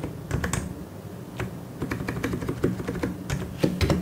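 Fingertips type steadily on a white and grey plastic mechanical keyboard. The keystrokes come as a fast, uneven stream of short, soft clacks with a low, rounded thock and brief bright ticks, each dying away almost at once over a quiet background.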